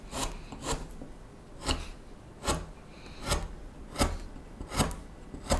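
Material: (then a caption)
Wood. A small knife whittles the faceted back of the bowl on a solid wooden spoon blank in scraping cuts. Short, dry rasping strokes repeat at an uneven pace of roughly one per second, each a brief bright scrape over a low, soft rumble.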